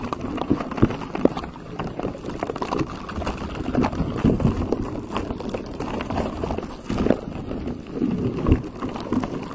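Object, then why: Textured silicone microphone cover. Fingertips and short nails scratch and tap across a pink textured silicone cover on a microphone. The result is a continuous close, muffled rustling, dense with soft, dull taps that sit mostly in the low and middle range with very little brightness, swelling in a few louder bursts along the way.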